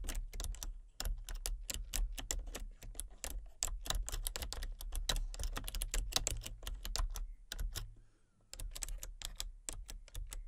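Fingertips type rapidly on the main keys and numpad of a full-size plastic computer keyboard with a colour-changing backlight. Dense, short, bright clicking taps sit over a steady low hum, with a brief pause near the eight-second mark before the typing resumes.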